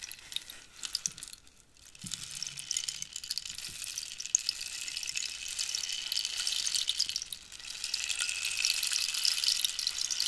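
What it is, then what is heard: Cactus wood rainstick. A hollow cactus-wood rainstick is held horizontally and tilted so the filling inside runs through it, making a rain sound. The result is a dense, bright, crackling hiss of many tiny patters, nearly all high in pitch with almost no low end. It briefly thins out near the start and again around two-thirds of the way through, then swells louder toward the end.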